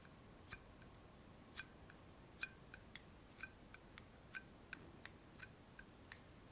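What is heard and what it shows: Long nails tap the body and metal lid of a small clear glass jar held up close, making about fifteen short, sharp, separate clicks at an unhurried, uneven pace. Each tap gives a brief bright glassy ping with ringing tones near 1.5 and 2.4 kHz and higher, fading almost instantly over a quiet hiss.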